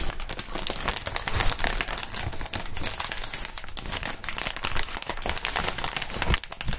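Gloved hands bend and crinkle a clear, hollow, inflated plastic air column cushion wrap close to the microphones. The result is a dense, continuous crackling and crinkling with a bright hiss and soft low thumps as the air columns flex, steady in level throughout.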